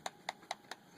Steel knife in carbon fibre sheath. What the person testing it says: there's a very very slight rattle because I'm shaking it hard it's very slight Rattle